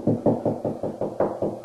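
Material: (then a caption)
Drywall. Knuckle knocks move across a drywall wall over a wood stud, with nine quick, dry taps spaced about every 0.2 seconds. The knocks sound hollow between studs and go higher and more solid over the stud, marking where the stud is.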